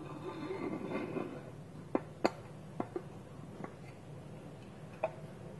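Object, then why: Small wooden bowl with wooden lid. Fingernails scratch and rub across a small, round, hollow, polished wooden bowl, empty, with its wooden lid held tilted against it. A soft, grainy rubbing fills the first second and a half, then six short, dry taps click out at uneven intervals with almost no ring, over a low, steady background hiss.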